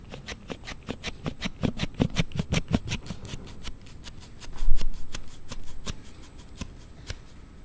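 A Note7 smartphone in a hard plastic slide case is held in both hands while a thumb repeatedly slides the case section back and forth. This produces a rapid series of sharp, bright rubbing clicks, dense in the first half. A louder scraping swell near the middle is followed by sparser clicks that trail off.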